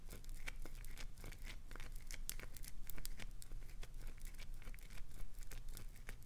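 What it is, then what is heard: Glycerin soap bar being scratched. Long nails scratch and dig into the face of a solid, translucent green glycerin soap bar held in both hands, gouging shavings loose. The result is a dense run of dry, crackly scratches and crinkling clicks over a steady low hum.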